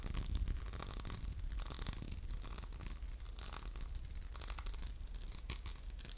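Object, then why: Textured glass soap dispenser with metal pump. An orange textured glass soap dispenser with a metal pump, hollow and held in the hand, is scratched with fingertips and short nails. The result is a steady, dense run of fine scratching and brushing bursts over a low hum.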